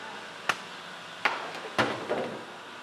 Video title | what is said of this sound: [FULL] Majalah 3 (2022) - 12 Dec - Bagang Dan Kopi Ikhtiar Lumayan | bila saya ketuk macam ni, dah masak. Dia putus-putus.